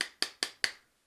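Four sharp, bright knocks on a small toy car hidden at the bottom of a bag, tested to tell whether it is hard or soft. Each knock is short and clicky with almost no low end, and it sounds hard like a rock rather than soft like a pillow.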